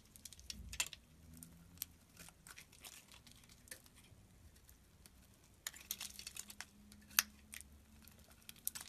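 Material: Soap.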